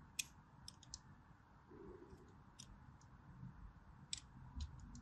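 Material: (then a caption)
Soap. A solid white striped bar of soap held in the palm as a blade draws long diagonal cuts across it. Sharp, bright clicks and scrapes stand out over a low, steady rumble.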